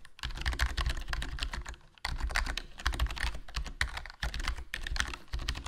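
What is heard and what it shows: Fingertips type continuously on a HyperX Alloy Core RGB plastic membrane gaming keyboard, fitted with a foam mod, with a black plastic body, black plastic keycaps and a hollow case. The result is a dense stream of soft, muffled key presses with a deep, thumpy low end and a light clicky top, pausing briefly around 2 and 4 seconds.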